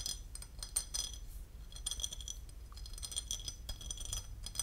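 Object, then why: Porcelain lid. A porcelain lid is tapped and scratched, giving a rapid run of light, bright ceramic clinks and brief scraping. Each clink rings only briefly over a faint low background hum.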